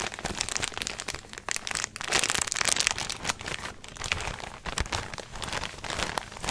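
A small clear plastic resealable zip bag with a blue label strip, holding something soft and white, is handled and crinkled with the fingertips. The result is a dense, continuous run of bright, crisp crinkles and crackles that swell and fade, with little low end and no ring after each rustle.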